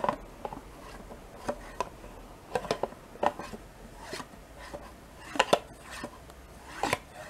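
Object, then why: Thin plastic yogurt cup with metal spoon. A metal spoon scrapes and taps inside a small, thin, two-compartment plastic yogurt cup with a paper label, which is mostly empty. Short, bright clicks and taps ring out against a quiet background, with a few soft scraping passes between them.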